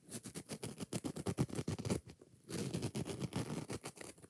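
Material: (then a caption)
Foam. Long nails rapidly scratch the green scouring pad and tap the yellow foam of a kitchen sponge, making a quick run of dry, close scratchy strokes with a soft, low thump. The rhythm dips to a faint rustle around the middle for about half a second, then resumes just as fast.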